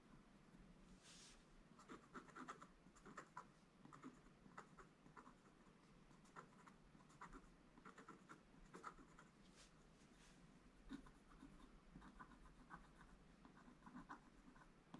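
A pointed wooden stick scratches lines into the black coating of a flat scratch-art sheet in a book, exposing the gold paper beneath. Quiet, dry scratching comes in short, repeated strokes with a soft mid-pitched rasp over a faint low background hum. Each stroke dies away almost instantly.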